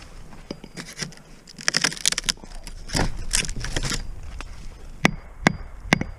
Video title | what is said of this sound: Dropping A Hickory Schoolmarm Snag; Nice, Dry Wood! | That sounds hard yet. That's good dry wood.